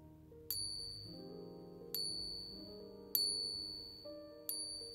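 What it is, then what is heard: Genuine silver coin. A real silver coin lying flat is pinged four times with another coin. Each strike gives a pure, high-pitched bell-like ring that fades over about half a second, over steady low tones in the background. The clear ringing note marks the coin as genuine silver, unlike the dull sound of a non-silver coin.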